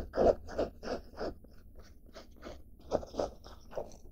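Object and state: Denim fabric scratched.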